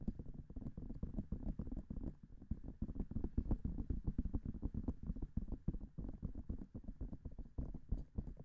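Nails and fingertips tap quickly on the hollow silicone ears of a binaural microphone. A fast, steady stream of soft, low, muffled thumps, each dying out at once with no ring.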